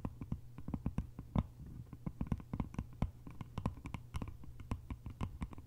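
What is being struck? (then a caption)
Small bamboo lidded container. Long nails tap quickly on the sides and lid top of a small, hollow, cylindrical lidded bamboo container. The result is a rapid, uneven stream of short, dry, hollow taps with a low body and brief bright clicks. Each tap dies away almost at once, with no ring.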